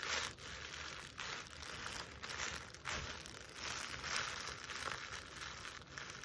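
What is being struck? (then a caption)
Jute burlap stocking. Long nails scratch and trace over the coarse woven toe of a jute burlap Christmas stocking with a white lining, held in one hand. The sound is a continuous dry, bright rasping and crinkling texture that swells and fades in repeated strokes.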